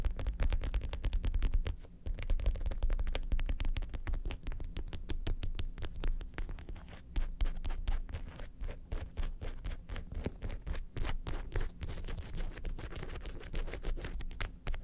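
Long pointed acrylic nails rapidly scratch and tap across the segmented leather shell of a hollow red leather lobster-shaped handbag with gold studs, held upright on a white table. A dense, continuous stream of quick, dry clicks and scrapes rides over a deep, hollow low thump, with each tap dying away almost at once.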